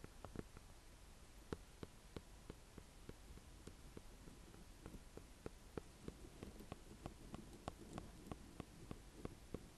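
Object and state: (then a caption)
Ornamental squash tapped with fingernails. A small green-and-cream striped, speckled ornamental squash with a hard rind is held in one hand and tapped and scratched with the long, dark-painted nails of the other. About eighteen quiet, sharp taps sound at an uneven pace over a faint low hum and soft scratching. Each tap is a short, hollow click with a mid-pitched knock that dies away almost at once.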